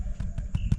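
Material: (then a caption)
Bread. Camp-oven damper (bush bread), loosened from the pot with a knife, is tapped to check that it is cooked. Four dull, low thuds are heard with almost no ring, a solid sound. The loaf is baked through, with a bit of air inside.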